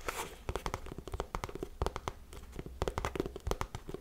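Long nails scratch and rub the toe and side of a tan suede lace-up boot held up close. The result is a run of quick, dry scratching bursts with a soft, muffled texture and little high end, separated by brief pauses.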